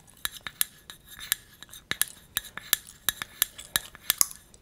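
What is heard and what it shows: Long red acrylic nails tap and scratch a small, hollow, apparently empty cylindrical copper-colored metal tea tin with a gold band, held in both hands. About 17 bright, sharp metallic clicks ring out at an uneven rhythm, mixed with faint scratching, and each dies away almost instantly with no lingering ring.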